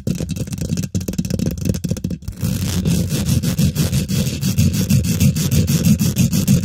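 Both hands use long nails and fingertips to quickly scratch and tap the domed, hollow woven metal mesh grille of a large silver condenser microphone. The result is a dense, fast stream of short scratches and taps, heavy in low, boomy rumble with faint bright scraping on top. It is briefly sparser near the start and then grows steadier and fuller.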